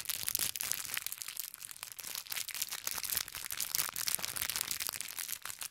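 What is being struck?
Thin plastic bag of small sugar candies.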